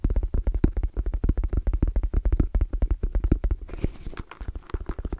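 Fingertips tap very fast on the lid and edge of a small, closed, hollow black zippered hard case with orange trim and a fabric-covered EVA shell. The result is a rapid, uneven run of short, dull, low thuds with almost no ring. Just before the four-second mark, a brief softer, brighter rustle breaks in before the tapping picks up again.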